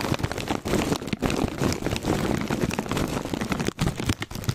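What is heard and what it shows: A foil-lined plastic Cheetos chip bag is held up and turned sideways while fingers tap and crinkle the plastic. Dense, steady crackling and rustling run nearly continuously, with a few brief dips in loudness.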